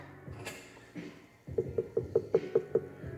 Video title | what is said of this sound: Beginner Wheel Throwing - Trimming a Bowl | I know that that's about a quarter of an inch thick